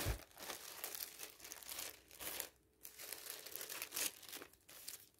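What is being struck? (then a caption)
Thin polyethylene bag. A thin, clear polyethylene bag, a flexible film laid over a magazine, is lifted, rubbed and crinkled with the fingers and a flat hand. It gives dense, bright crinkling and rustling in uneven bursts, separated by brief quieter pauses.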